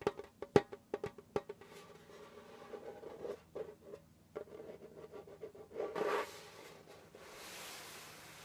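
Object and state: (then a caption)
Djembe drum. Fingertips and flat fingers tap and rub across the stretched skin head of a hollow djembe drum with a wooden shell. A quick series of sharp, dry taps with a short ring around 410 Hz gives way to softer, uneven taps and scratchy rubbing, a brief brighter swell near the six-second mark, and a faint airy hiss at the end.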